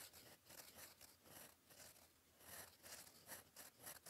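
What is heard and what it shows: A fountain pen's gold metal nib, held in fingers, scratches across a flat sheet of cream lined paper on a desk while writing cursive. The result is a quiet, bright, dry scratching with no ring, rising and falling in short bursts as each stroke is drawn.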